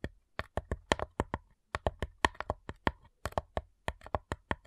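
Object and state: Wooden cigar box.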